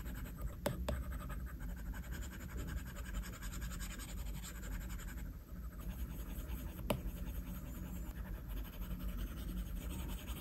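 A plastic stylus tip drags in slow strokes across the flat glass screen of an iPad tablet, making a soft, continuous scratching sound. The sound is steady and low-weighted, broken by a few sharp tapping clicks where the tip meets the glass.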